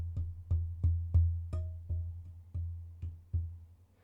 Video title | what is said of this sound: Is This The Best BUDGET Microphone Under $100? - Fifine K688 Dynamic XLR USB | it resonates through the audio